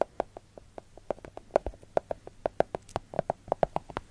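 Long gold glitter fake nails tap and scratch across a solid segmented milk chocolate bar, making a rapid, irregular series of short, dry clicks with a mid pitch around 640 Hz. Each tap is crisp and dies out almost instantly, with faint scratching between the taps.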